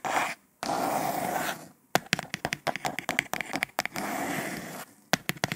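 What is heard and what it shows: Long nails scratch and scrape along the printed surface of a hollow, cylindrical kraft cardboard tube made for almond dragees. Two long, dry, raspy scrapes alternate with rapid bursts of sharp scratchy ticks, and the sound ends on a few crisp high scratches.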